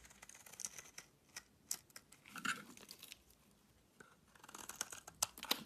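A wide blade shaves long curls off a solid white bar of soap held in the hand. Quiet, crisp scraping and crackling strokes come in uneven bursts, bright and hissy with almost no low end. There is a brief lull in the middle before a denser run of sharp shaving crackles at the end.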